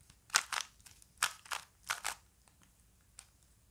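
A small plastic Rubik's cube with colored faces is held in both hands while the fingertips quickly turn its layers. Six bright, crunchy bursts of plastic clicking and grinding come in three closely spaced pairs, followed by a faint single tick near the end. Each burst stops dry, with no ring.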